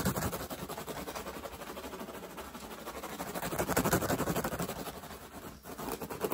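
Fingertips and short nails scratch and tap fast on a woven straw hat with a hollow crown, held close. A dense, steady run of dry, crackly scratches and soft taps, about four a second, with a hollow low-mid tone. It swells louder near the middle, dips briefly near the end, then picks up again.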